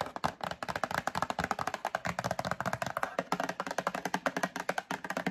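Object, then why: Cardboard box. Long acrylic nails rapidly tap and scratch the faces of a medium printed cardboard Breakfast Essentials box held in hand. It makes a quick, steady run of about three dozen dry, hollow mid-range clicks with almost no ring, mixed with faint scratchy rustle.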